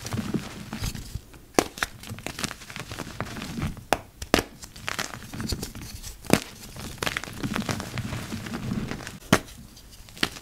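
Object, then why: Mass of dyed gym chalk. Hands in yellow rubber gloves dig into a heap of dry, crumbly, purple-dyed gym chalk and crush it. Soft, gritty crumbling and crunching runs throughout, broken by sharp, bright cracks that die away almost instantly.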